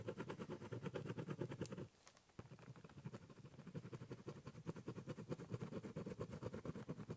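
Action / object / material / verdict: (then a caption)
scrape / corrugated cardboard box with ballpoint pen / cardboard / none. A ballpoint pen draws small repeated strokes near the top edge of a large, hollow, brown corrugated cardboard box. The result is a fast, steady run of scratchy strokes with a hollow, low-mid resonance. There is a brief pause just before the two-second mark, then the scribbling resumes at the same quick pace.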